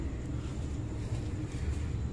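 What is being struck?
Nothing is struck.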